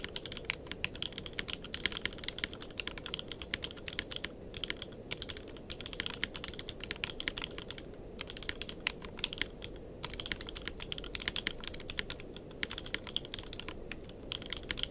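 Fingertips of both hands type continuously on a tenkeyless mechanical keyboard with plastic keycaps. The result is a fast, steady stream of short, bright clacks with a low background hum, broken by brief pauses near the 4.5, 8, and 10 second marks. Each keystroke cuts off almost instantly.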